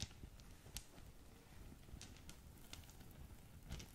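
A small green polka-dot satin drawstring gift bag with a ribbon is scratched by long nails while fingers crinkle and squeeze it. Soft crackles and brushy fabric rustles mix with a low rumble under a faint, steady bed of noise. Several sharper ticks stand out, and bright scratchy flicks come through now and then.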